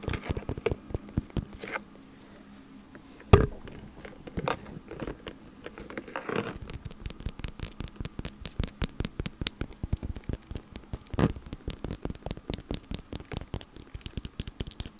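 Long nails tap a small, hollow, translucent, textured plastic (acrylic) ghost decoration, making short, dry clicks and soft knocks. The taps are scattered at first, with one louder knock near the start. They then settle into a fast, steady patter of crisp ticks that die away almost instantly.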